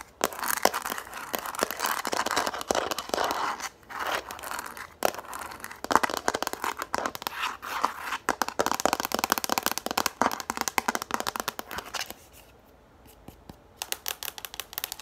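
Long nails rapidly tap and scratch the surface of a yellow hard plastic frisbee with a hollow underside, held upright. The result is a dense, bright, crackly stream of quick clicks and scraping rustle. It thins to a few sparse taps near the end before picking up again.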